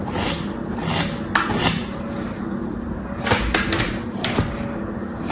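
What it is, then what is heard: Kinetic sand being scraped. A thin metal tool held in the fingers repeatedly scrapes and slices through pressed kinetic sand shapes resting on a striped cloth. A steady, soft, grainy scraping continues throughout, broken by several brief, brighter crunchy slicing accents that fade quickly.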